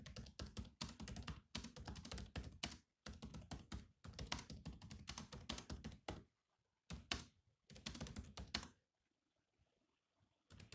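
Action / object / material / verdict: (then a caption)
tap / laptop keyboard, plastic keys / plastic / none. Fingertips of both hands type on the low-profile plastic chiclet keys of a grey metal-bodied laptop. Rapid bursts of dry, clicky keystrokes, each with a low thud and a bright tap, come in runs separated by brief pauses. A longer quiet gap near the end is followed by typing starting again.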